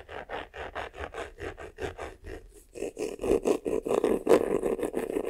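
Fingertips and nails scratch the front and top of a medium black croc-embossed faux-leather vanity case, a hollow box with a croc-textured covering. Quick, rhythmic rasping strokes come about two and a half per second, with a dry midrange scratch centered near 500 Hz. The strokes grow louder and denser in the second half.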